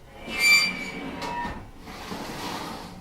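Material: Nothing is struck.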